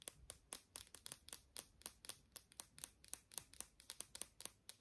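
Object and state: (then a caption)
Plastic lip balm tube. A small, hollow, travel-size pink and blue plastic lip balm stick is held in both hands and tapped with short nails and fingertips. About 25 quick, dry, bright clicks come in an uneven rhythm, each dying away almost instantly with very little low end. The tapping is quiet throughout.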